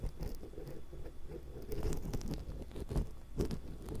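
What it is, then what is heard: Metal microphone grille scraped. A thin metal ear pick, held in long-nailed fingers, scrapes across the metal mesh capsules of a small hollow X-Y stereo microphone. The result is a steady run of close, crunchy, rustling scratches, heavy in low rumble, with a few sharper scrapes standing out.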